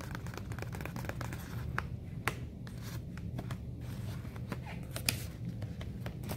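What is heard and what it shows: Fingertips and long nails tap and scratch across the front flap of a medium yellow messenger bag made of stiff woven/nonwoven fabric with black piping, hanging hollow on a store display. Quick, dry taps and crinkly scratches with bright, short clicks sit over a steady low rumble in the background.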